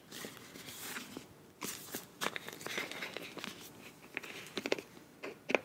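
Long nails tap and scratch along the body and cap end of a filled beige plastic face wash tube with a bronze cap. Soft, bright hissing scratches run through the clip, broken by short, sharp clicky taps with almost no ring and little low end.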